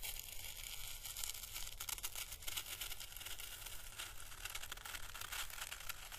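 A small, pale green, hollow dried papery Chinese lantern husk, held up in the fingers, is slowly brushed with a fine paintbrush. The result is a quiet, steady, bright crackling and crinkly rustle with soft tearing-like textures over a low, constant hum.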